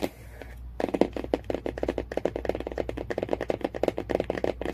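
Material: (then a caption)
Cardboard. Fingernails tap rapidly on the cardboard cover of a hardcover book. After a brief quiet start, a dense run of short, dry, hollow clicks follows, with body in the low-mids, no ring, and a faint hum underneath.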